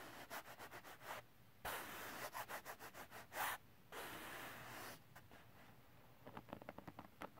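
Fingertips and nails scratch and rub the gritty surface of a flat silver holographic glitter cardstock sheet. Quick, rhythmic scratching strokes alternate with longer, hissing brushing rubs, including one sustained sweep in the middle. The clip ends with a rapid, lighter flurry of bright scratches.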